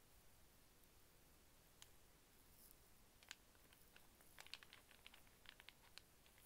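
A small solid wooden snake puzzle of linked brown and white cube and cylinder pieces is held stretched out, then folded in the hands while it is tapped and fiddled with using fingernails and fingertips. Quiet, irregular, sharp bright clicks and taps scatter over a soft low hiss, growing more frequent in the second half. Each click is very short with almost no ring.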